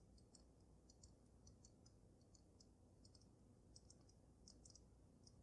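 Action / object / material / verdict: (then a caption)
tap / water-filled glass snow globe / glass / none. Long nails tap and click on the glass dome of a water-filled dragon snow globe. Quiet, sharp, bright ticks come in irregular clusters over a steady low hum, each dying away almost instantly.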